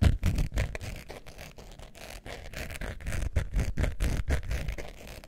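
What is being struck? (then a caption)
Faux leather wallet. Long nails scratch the textured surface of a long beige faux leather wallet with a metal zipper, held up in the air. Quick, uneven scraping strokes repeat about three times a second, producing a deep, muffled rasp with little brightness and no ring after each stroke.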